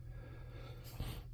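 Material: Nothing is struck.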